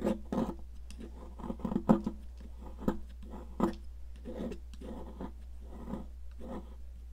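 A metal palette knife scrapes and carves chunks off the end of a solid blue popsicle-shaped sidewalk chalk held at an angle on a plastic mat, piling up powder. A series of short, dry, gritty scrapes and crunches repeats with a low, steady hum underneath.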